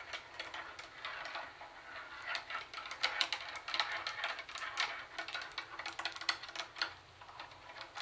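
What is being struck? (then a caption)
Plastic boombox carry handle and lid. Long nails tap and scratch the hollow plastic carry handle and the lid of a Sony plastic CD cassette boombox. The result is a quick, irregular run of dry, bright plastic clicks mixed with scratchy rustling. Each tap dies away almost instantly, with no low-end body.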